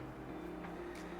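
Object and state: Nothing is struck.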